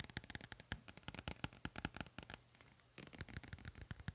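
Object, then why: Paperback book with glossy card cover. Fingertips and nails tap and scratch the glossy card cover of a medium pink paperback book with gold print, held solid in one hand. A rapid run of short, dry, bright clicks and scrapes with a low thump beneath fills the clip. The taps pause briefly in the middle, then resume.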